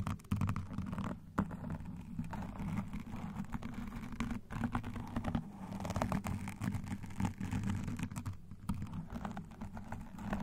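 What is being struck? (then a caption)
Foam microphone windscreen. Long nails and metal claw rings, on alternating hands, scratch rapidly and tap lightly on a black foam microphone windscreen. The result is a dense, muffled, low-heavy rustling and scraping with occasional sharper tapping accents that continues steadily throughout the clip.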